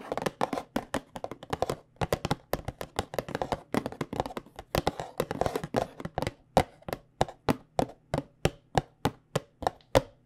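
Long painted nails of both hands tap on a small white cardboard box of Tulsi tea bags. The short, crisp, hollow clicks die away almost instantly and come in quick, dense flurries at first, then settle into slower, evenly spaced taps. A faint steady low hum sits underneath.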